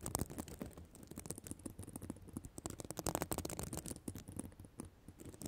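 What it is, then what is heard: Plastic sequin fabric scratched with nails. Long nails scratch across the plastic sequins of a reversible sequin notebook cover. The result is a quiet, dense run of rapid, crisp clicking and scratching with bright transients over a low rumble, swelling in bursts and briefly louder near the start and around the middle.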